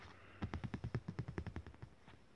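A thin, glossy printed art postcard lying flat on fabric is tapped with the fingertips in a quick run of about fifteen soft, dull taps, each dying out almost at once. The hand then lifts away, leaving a quiet low hush.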